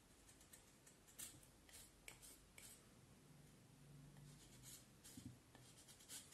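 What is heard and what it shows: A small knife blade shaves and scrapes the end of a solid, peeled vine wood branch about forearm length, held in one hand, in short carving strokes as shavings pile up on the table. Quiet, dry, bright scraping strokes, about seven sharper ones, sound over a soft, low background rumble.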